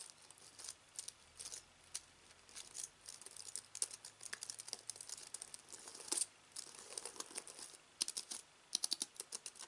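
A slim aluminium keyboard with white plastic keys, resting on fabric, is typed on rapidly with fingertips. The result is a fast, uneven run of light, bright clicks and taps with almost no low end and no ring after each stroke, over a faint low hum.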